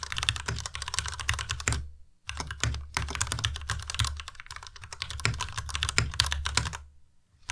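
Fingertips type steadily on a white Ducky Miya Pro tenkeyless mechanical keyboard with plastic keycaps and linear switches, producing rapid, bright clacky keystrokes with short, dry decays. The typing pauses briefly around the two-second mark and fades out near the end, over a steady low hum.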